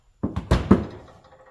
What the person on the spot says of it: you can hear it sloshing around